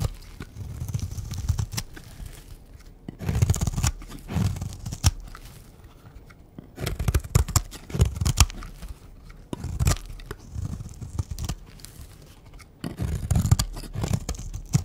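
A utility knife blade scrapes a green, rectangular bar of dry solid soap held in the hand, shaving it off in curls. Bursts of dry, crunchy tearing and scraping come in uneven strokes, with a heavy low rumble under brief bright crackle, separated by quiet pauses.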